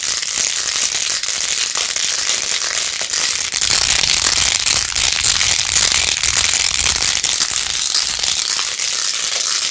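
Long nails scratch fast over the beads of a plastic phone case with pink faux-pearl gems and a rose-gold rim, held in both hands. The result is a dense, continuous, bright crackling and clicking texture with almost no low end, swelling slightly louder in the middle before settling back.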